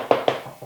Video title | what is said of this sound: Réparer un parquet massif après un dégât des eaux. | Là pareil, on entend bien, ça sonne le creux.